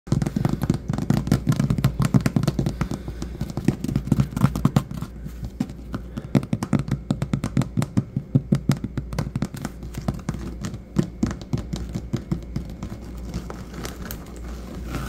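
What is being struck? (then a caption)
Vinyl floor tiles. Fingertips and short nails of both hands rapidly tap and scratch a solid, patterned vinyl/linoleum tile floor. The result is a dense run of dull, low, quickly damped knocks mixed with faint scratching, over a steady low hum.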